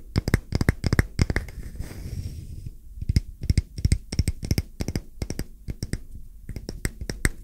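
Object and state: Wooden coaster.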